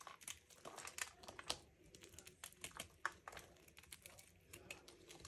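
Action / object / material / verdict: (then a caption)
scrape / bar of soap scraped with a knife / soap / none. A small knife cuts and scrapes a solid, dry purple-pink Lux soap bar held in the hand over a wooden tray, and crisp flakes fall onto a pile of soap shavings. The sound is a dense run of quiet, bright, dry crackles and crinkly scrapes with short, sharp snaps and almost no low end.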